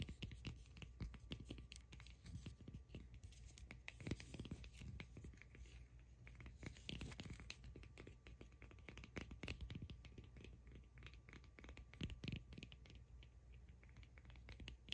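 A solid cork ball held in the hands is scratched and tapped by long acrylic nails. The result is a dense, continuous run of dry scratching and quick light taps with a low rumble underneath and bright crackle on top.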